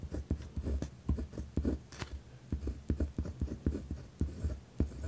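A pen tip scratches firmly across a white lined paper pad resting on a wooden desk while writing. It produces a quick series of short, rough scratching strokes, mostly low and dull in tone with occasional bright streaks.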